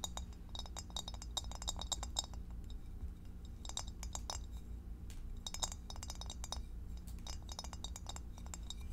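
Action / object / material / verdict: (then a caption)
tap / glass food storage dish / glass / none. Long acrylic nails tap the sides and underside of an empty, clear rectangular divided glass food storage dish held up in the air. Quick bursts of bright, short clinks come in dense clusters over a steady low hum.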